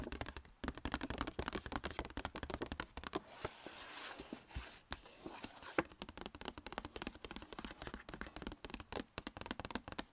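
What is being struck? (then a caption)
Paper gift bag. Long red painted fingernails tap rapidly on the paper sides of a small, hollow striped Sephora paper gift bag held upright. The tapping is a fast run of short, dry hits that pauses around the middle for a few seconds of soft, breathy rustling before resuming.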